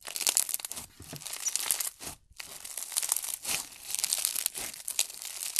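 Hands squeeze, press flat and crush pink slime filled with tiny foam beads. This produces a dense, bright crackling and crunching that sits almost entirely in the high range, with a short near-silent pause a little past two seconds before the crackling resumes.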